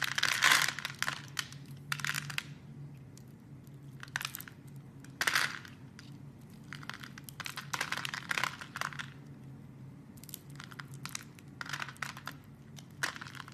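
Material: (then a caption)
Soap. A palm-sized, solid rectangular red bar of soap, held in one hand, is carved with a utility knife blade that scrapes and cuts a grid of small cubes that crumble off. Bursts of bright, crisp crunching and scraping come in clusters, with faint, quiet gaps and a low steady hum between them.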